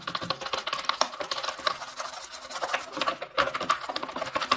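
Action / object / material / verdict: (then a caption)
scrape / plastic washing machine detergent drawer / plastic / none. A white bristle brush scrubs a removed grey-white plastic washing machine detergent drawer, hollow with compartments and small tubes, empty and wet with some soapy residue. Rapid, dense scratchy strokes crackle with a bright, hollow plastic tone around 1.2 kHz and almost no low end. Each stroke stops dead with no ring.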